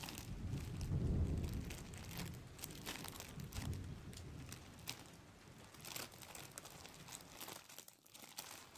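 Fingers crumple and rub a thin, transparent, empty plastic bag held up close. Dense crinkling and crackling runs throughout, with a low rustling rumble that swells and fades and bright, sharp crackles scattered over it.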